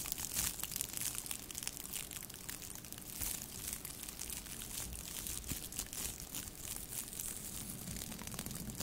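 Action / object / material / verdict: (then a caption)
scrape / metallic plastic tinsel garland / plastic foil / none. A thin pink metallic plastic tinsel garland strand is held in both hands above the microphone and rubbed and scrunched between long nails and fingertips. The result is a steady, quiet, bright crinkling and crackling with many fast, dense rustles and a faint low rumble underneath.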